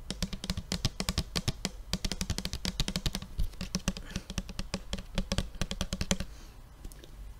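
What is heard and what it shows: A large blue plastic tempera paint bottle with a white cap, hollow and apparently full, is held up and tapped with fingertips and fingernails. A quick, steady run of crisp taps carries a low, hollow thud under bright clicky edges, each dying away almost at once. The tapping stops about a second before the end, leaving a quiet tail.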